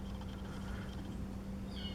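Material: Nothing is struck.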